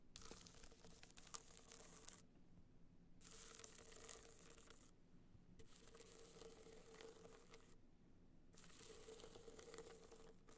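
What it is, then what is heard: Hard-shell box clutch being scratched. Long nails scratch across a small, rigid, hollow box clutch covered in gold metallic material with raised dots, held upright. Four bouts of dry, bright scratching, separated by short pauses, carry a faint hollow tone from the hard shell. A quiet low hum runs underneath throughout.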